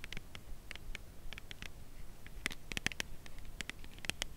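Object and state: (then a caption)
Cardboard chocolate bar box. A full, slim cardboard Lindt chocolate bar box, held edge-on, is tapped on its edge with long acrylic nails. The result is a series of light, dry clicking taps with no ring, bright crisp tops around 1.8 kHz over a low, soft rumble. The taps speed up and become sharper in the second half.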